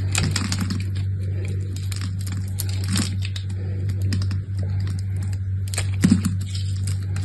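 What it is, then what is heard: Soap bar carved with a blade. A small solid soap bar with brown and cream stripes, held in the hand, is carved and scraped with a utility knife blade. Rapid, crisp scraping and crackling clicks run over a steady low hum, with a sharper cluster of cuts near the end.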